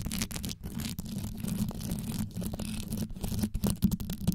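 Both hands grip the head of a metal microphone whose grille is covered in small rhinestones, and long yellow nails scratch quickly over the studded surface. The result is a dense, continuous rasp of fast scratches with a steady low buzzing tone near 200 Hz underneath. Brief bright ticks flicker through it throughout.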